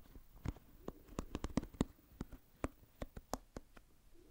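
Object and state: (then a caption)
Plastic pin-bristle hairbrush. Fingertips scratch and flick the pin bristles of an oval plastic paddle hairbrush, held by its handle close to the microphone. About fourteen short, dry ticks and flicks sound at an uneven pace over a quiet, soft scratching bed. Each snap is crisp with a low thump and stops at once, with no ring.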